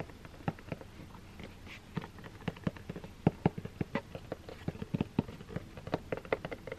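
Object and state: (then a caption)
Cardboard box tapped and scratched with nails. A closed, hollow, medium-size black 3Dio cardboard product box is held up and tapped and scratched with long green-painted nails. Quick, irregular dull knocks with a low hollow body are heard, mixed with soft scratchy patter between them. Each tap dies away almost instantly.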